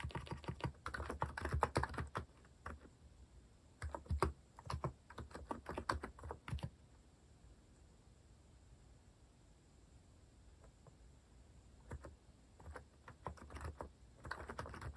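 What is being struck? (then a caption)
Mechanical keyboard with plastic keycaps. Fingertips type fast on a compact white-cased mechanical keyboard with cat-themed plastic keycaps. The result is dense bursts of short, clacky key presses with a low thock. A quiet pause runs from about 7 to 12 seconds before the typing resumes.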